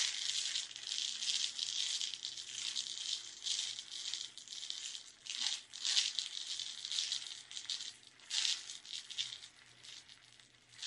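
A small clear plastic tub with a lid, full of colorful sugar sprinkles, is held in both hands and tapped and scratched with long red nails. A steady, quiet stream of bright, dry rattling and scratching fills the clip, with no low end. Soft swells and brief louder bursts mark where the sprinkles shift inside.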